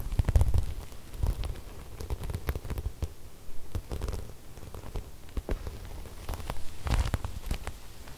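Long red nails and fingertips rub and scratch across a large, flat cream fabric with silver sequin floral embroidery. The result is a steady, soft, low rustling broken by many short crackling clicks and ticks as the sequins shift.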